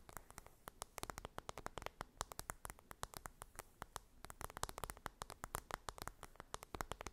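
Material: Cardboard.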